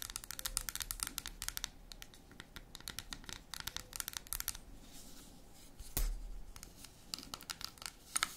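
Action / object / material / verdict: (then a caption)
scrape / dark chocolate bar / chocolate / none. A solid, unwrapped dark chocolate bar is held tilted while long red acrylic nails scratch and tap its segmented surface, with crumbs on the table. Quick, dry, bright clicks and scratchy crinkling come in uneven bursts with short quiet gaps. A heavier rustling swell arrives around six seconds.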